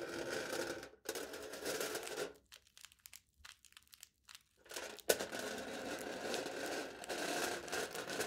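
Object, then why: Aluminium foil stretched over a plastic cup. A knife blade tip scratches and drags across aluminium foil stretched over the top of a hollow plastic cup held in the hand, making a steady, bright, crinkly scraping. The scraping breaks briefly at one second, then thins into short, sparse scratches in the middle. It returns as continuous dragging, opened by a sharp tick.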